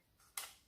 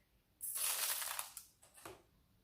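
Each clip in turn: First: A soft, dry, high-pitched patter as rice grains land on paper, fading within a fraction of a second. Second: A bright, hissing patter of rice grains pouring onto plastic for about a second, then a shorter trickle.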